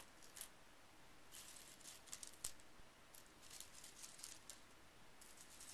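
Fingertips rake and push a small pile of loose, painted metal brad paper fasteners with decorative heads across a bamboo mat. The pieces clink and rattle together in soft, bright, high-pitched ticks, with a few sharper clicks standing out against a quiet, steady hiss.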